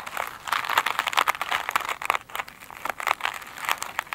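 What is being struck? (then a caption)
Glitter-covered foam sponge. Long pointed acrylic nails of both hands scratch an elongated oval foam sponge with a glittery woven surface, soft and solid rather than hollow, lying flat on a glossy table. The result is a dense run of quick, dry crinkling scratches centered in the midrange with bright, hissy edges and almost no low end.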